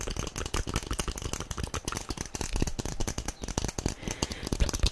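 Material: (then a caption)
Plastic. Long nails rapidly tap a small, hollow, yellow plastic SpongeBob figurine held close to the microphone. A dense stream of dry, clicky taps comes through, each with a low, thumpy body and a short bright edge that dies away almost instantly.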